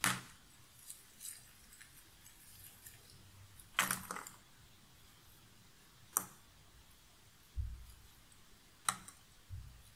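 Hands stir a pile of cardboard jigsaw puzzle pieces in a box lid, then lift pieces and let them fall back. Soft rustling is broken by several sharp, bright clattering bursts as the pieces drop, some with a dull low thump, each dying away almost at once.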